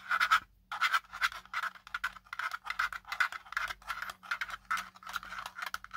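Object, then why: Plastic drone body. A small black folding drone with a hard, hollow plastic body is held in hand while fingertips and nails scratch and tap along its ridged plastic arms and body. Quick bursts of dry, bright scratching come one after another, centered in the mid-range around 1.3 kHz, with short pauses between strokes and almost no ring.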